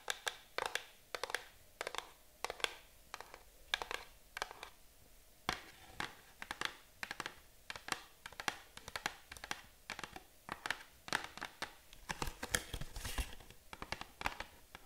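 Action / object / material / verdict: tap / small cardboard box tapped with fingernails / cardboard / none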